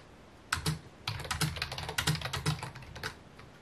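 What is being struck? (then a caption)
Plastic computer keyboard. Fingertips type on a full-size white and mint plastic computer keyboard with a hollow housing, resting on a wooden desk. After a brief quiet start, quick bursts of bright, clicky key taps each carry a low, hollow thump underneath and die away fast. The typing comes in uneven runs with short pauses between them.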